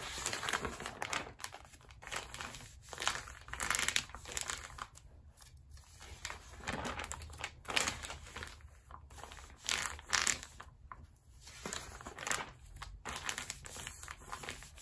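A hand turns the pages of an open glossy paper magazine lying on a rubber mat and rubs a palm across them to flatten the spine. Bright, crisp rustling and crinkling of paper comes in uneven bursts, with short quieter gaps between page turns and slides.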